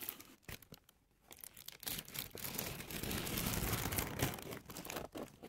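A thin white paper tissue sheet, held in both hands, is crinkled and scratched with long manicured nails and fingertips. A few soft, separate ticks and rustles open the clip, then the crinkling builds into a dense, steady, bright crackle that runs almost to the end. It dips briefly just before the last burst of crinkling.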